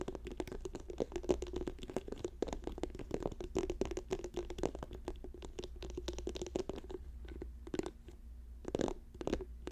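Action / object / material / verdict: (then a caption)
tap / plastic squeeze tube / plastic / none. An orange plastic squeeze tube lying on a fur rug is fast-tapped with fingertips and nails. Dense, quick, dry clicks with a hollow mid-pitched tone run steadily over a faint low hum, with a few slightly louder taps near the end.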